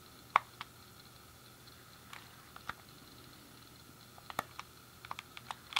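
A thumb clicks the D-pad and fingers press the buttons on a hand-sized, hollow grey plastic SNES game controller. About 12 short, dry plastic clicks sound apart from one another, scattered unevenly with a cluster near the end. The quiet, bright ticks carry a tone around 1.1 kHz and die away almost instantly.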